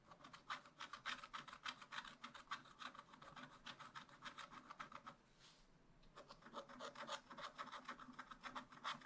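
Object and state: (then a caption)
Scratch-art paper being scratched. A wooden stylus scratches stripes onto the raccoon's tail on a black wax-coated scratch-art paper page in a spiral-bound pad. It makes rapid, dry, rasping strokes with a bright, papery hiss. The strokes stop briefly just past the midpoint, then resume at the same quick pace.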